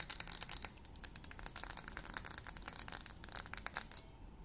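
A tall, hollow, apparently empty green glass wine-style bottle is held in the hands and tapped and scratched with fingertips and nails. Quick, light clicks and scratchy rattling carry bright, high glassy tones throughout, fading quieter in the last half second.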